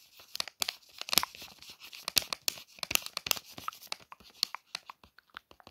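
Long nails trace and scratch across the printed plastic wrapper of a Palmolive soap pack, producing a rapid series of sharp, dry crinkles and crackles. The sound is bright and high, with almost no low end, and each crinkle cuts off quickly without ringing.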